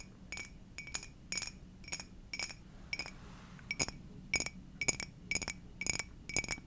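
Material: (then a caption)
Glass. Long dark nails tap an empty, hollow, clear glass Garfield mug in an uneven series of quick taps. Each tap gives a short, bright glassy clink with a ringing tone near 2 kHz and higher, fading almost at once over a low, quiet background rumble.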